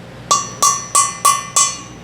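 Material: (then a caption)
Steel. A new valve stem seal on a 392 Hemi cylinder head is lightly tapped down with a socket and hammer, giving five short, bright metallic ticks with a ringing tone near 1.1 kHz. The tapping takes on a slightly louder "ting" once the seal is fully seated, and the seal ends up fully seated.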